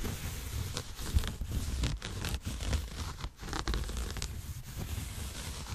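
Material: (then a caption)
Denim. A dark blue denim garment, soft and flexible, is held up close to the microphone while fingertips and nails scratch and rub the fabric. It makes a steady stream of dry, rustling, scratchy strokes with bright edges over a heavy low rumble, rising and falling in short bursts throughout.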